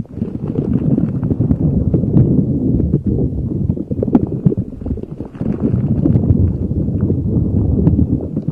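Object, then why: Soft rubber spiky ball. A neon green soft rubber spiky puffer ball is rubbed and squeezed with fingers over a microphone. It makes a dense, muffled, low-heavy rumbling with rapid soft scratchy crackles and thumps, nearly continuous with brief dips around 3 and 5 seconds.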